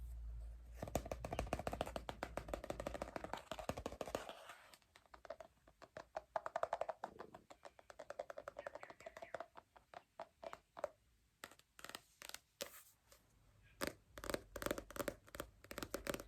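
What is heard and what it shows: Rapid fingertip tapping on a paperback copy of 1984 by George Orwell, a Popular Penguins edition. Quick, dry, short taps come in dense flurries and then slow to sparser, separate taps.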